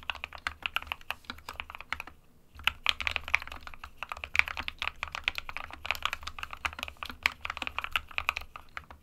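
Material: Plastic.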